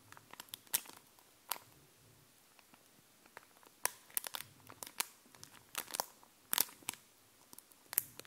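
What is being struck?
Epoxy plastic stickers on a paper backing.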